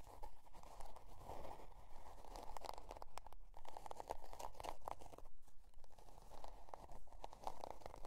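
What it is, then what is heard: Cardboard notebook cover. Long dark nails scratch the scale-pattern cardboard cover of a spiral-bound notebook resting on faux fur. Quiet, dry, papery scraping and crinkling strokes repeat in a loose, fairly steady rhythm, with a midrange rasp near 930 Hz over a faint low rumble.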